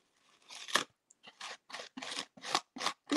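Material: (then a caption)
Acrylic, glass. A spatula is worked through an acrylic gel medium containing reharvested glass, small colored glass grains like sand. Short gritty, crunchy scrapes repeat, bright and sandy with no low end, each stopping dead with no ring.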